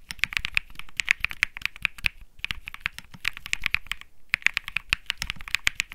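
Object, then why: Mechanical keyboard with plastic keycaps. Both hands type rapidly with their fingertips on a Think 6.5, a 65% mechanical keyboard with Bsun Lollipop switches and plastic keycaps. It makes a dense run of sharp, bright clacks centered around 2.2 kHz, each ending almost instantly, with brief pauses near 2.4 and 4.2 seconds.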